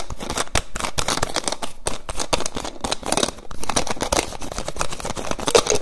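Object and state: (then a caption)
Plastic bottle cap. Fingers quickly tap and twist the white plastic cap of a small clear plastic bottle held close. The result is a rapid, dense stream of sharp plastic clicks and crinkly taps, with bright edges and short, dry decays at a steady, fairly loud level.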